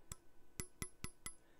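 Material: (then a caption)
Steel. Five taps on the blade of a Nitro V steel folding knife, each giving a short, bright metallic ring over a low thump. The ring marks a blade heat-treated on the hard side and ground thin behind the edge.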